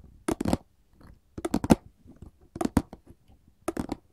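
A printed paperboard candy box is tapped with long gold filigree metal claws, giving quick dry, papery clicks in four short clusters. Each tap dies away almost at once.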